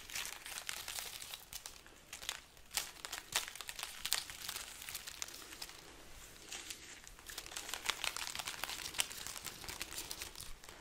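A strand of dried red chili peppers on a garland is held up while the pods are scratched and squeezed with long nails and fingertips. Dry, papery crinkling and crackling come in a dense run of quick, bright clicks with almost no low end, each snap dying away instantly.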